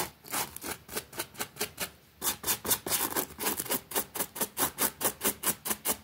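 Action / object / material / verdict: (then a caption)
scrape / small damp fabric rug scrubbed with a plastic bristle brush / fabric / none. A pink plastic bristle brush scrubs quickly back and forth across a small, flat, damp green fabric rug with a rabbit print lying on a concrete floor. About 26 short, bright, hissy scrubbing strokes come in a steady rhythm, with a brief pause near the two-second mark. Each stroke is a dry rasp that dies away almost instantly.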